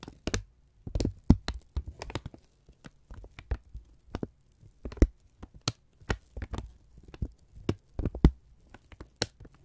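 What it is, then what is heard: Kraft paper sheet. A thin strip of brown kraft paper is flexed and rubbed between the fingertips and thumbs of both hands. It makes an irregular series of short, crisp crackles and soft crinkling bursts with quick, dry decays. A low, muffled thump sits under each burst, and near-silent gaps fall between them.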